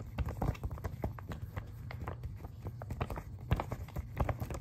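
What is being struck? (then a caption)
Glossy paper magazine pages. Several fingertips tap and scratch quickly on the glossy paper pages of an open magazine spread showing a "Kingdom of David and Solomon" ad page. The sound is a rapid run of soft, dull taps with brief papery scratches over a low, muffled base, each tap dying away at once.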